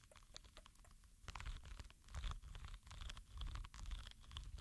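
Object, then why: Soft rubber spiky ball. A small, palm-sized green rubber ball covered in soft spikes is rolled and rubbed between both palms and fingers. It makes a soft, low rubbing rumble with dense crackly, crunchy scratches and brief bright ticks that swell and fade as the hands move.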